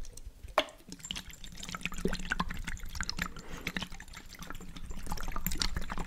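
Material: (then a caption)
Glass. A small glass jar with a blue checkered lid, partly filled with water, is held up by hand and shaken and tilted so the water sloshes inside. Quick, irregular watery splashes and drip-like plinks continue throughout, with a sharper knock near the start.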